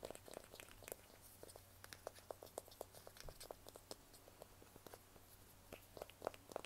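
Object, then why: Smartphone in a plastic case. A small, solid handheld smartphone in a black plastic or silicone case is held in both hands while fingertips and nails tap and scratch the back of the case. It makes a quiet, irregular run of short, dry clicks with bright, crisp tops and a faint mid-pitched knock, with soft scratchy rustling between the taps over a low, steady hum.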